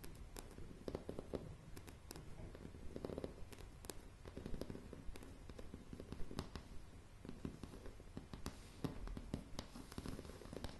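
Long nails tap and scratch across a solid wooden plank floor of light pine floorboards. Quiet, rapid, dry taps with almost no ring mix with soft scraping, the sound heavy in the low range with sharp, bright click edges.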